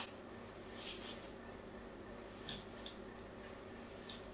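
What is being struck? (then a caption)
Bar of soap scraped with a fine blade. A fine blade scratches diagonal lines into a new, solid pink soap bar held in the hand. Short, soft, bright scraping strokes rise now and then over a quiet, steady background hiss and low hum.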